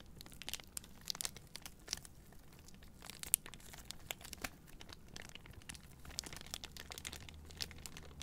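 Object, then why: Cardboard boxes in clear plastic wrap. Long painted nails and fingertips crinkle and scratch the clear plastic wrap around a hand-sized bundle of three white Native deodorant cardboard boxes held in both hands. A quiet, steady stream of bright, dry crinkles and sharp scratchy ticks plays over a low background rumble, with a few louder crackles standing out.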